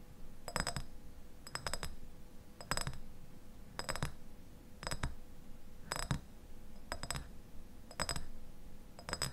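A medium clear glass jar with a white lid, partly filled with pale contents, is held in both hands and tapped and scratched on its glass sides with fingertips and nails. About nine short clusters of quick, bright glassy clicks and clinks come roughly once a second, with very little ring. Soft scratching sounds and a faint steady low tone fill the gaps between them.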